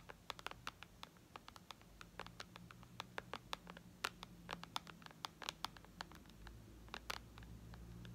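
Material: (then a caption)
Glass. Long red nails tap rapidly on the glass screen of a white iPad lying flat, producing dozens of short, sharp clicks with bright, high edges and almost no ring. A low, steady hum sits beneath the taps.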